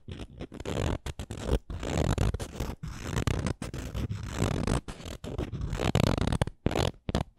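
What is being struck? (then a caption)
Small painted wooden ornament. Long nails scratch along the edges and tap the face of a small, solid, painted wooden Canada ornament. Dense, low, rough scraping comes in uneven bursts broken by short pauses, with soft, dull taps mixed in.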